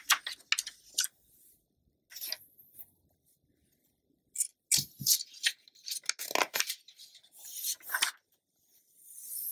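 A thin page of an open glossy paper magazine is flipped over by hand while long nails rest on and rub the pages. Crisp, bright papery swishes and crinkles come in short bursts with quiet gaps between them, almost all high-pitched with hardly any low end. Soft scratchy rubbing fills the gaps between flips.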